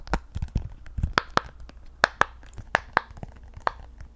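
A hand-sized rainbow octagonal silicone pop-it fidget toy with hollow bubbles is held close while long nails scratch and tap across the bubbles. About ten sharp, dry clicks with a hollow tone around 1.6 kHz stand out over soft scratching and a few low, muffled thumps near the start.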